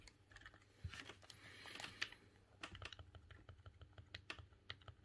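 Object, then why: Plastic game controller. Fingertips and thumbs press and click the face buttons and D-pad of a silver, hollow plastic GameCube controller. A quick, uneven run of short, dry, bright clicks is heard, with a brief louder rustling burst near the middle. Each click dies away almost instantly.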